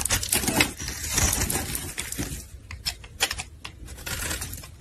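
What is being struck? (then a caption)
Bar of soap scraped with a metal blade. A solid pink soap bar, held in gloved hands, is scraped and shaved with a metal utility blade. Bright, crisp rasping strokes mix with sharp little clicks and ticks as the blade cuts through. The sound starts dense and scratchy, then turns into sparser, separate snaps toward the end.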